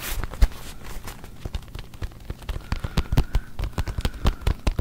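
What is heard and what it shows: A full-size brown leather NFL football with written lettering, hollow and inflated, is held in both hands close to the mic while fingertips and nails scratch and rub across its pebbled leather surface. A rapid string of short, dry scratching and crackling strokes sounds over a low, hollow thump from the ball. Each stroke dies away almost instantly, with no speech.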